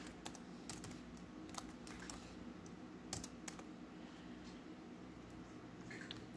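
Fingertips tap on the black plastic keys of a laptop keyboard below its lit screen. About ten quiet, sharp, bright clicks stand out over a steady low background hum, each dying away almost instantly.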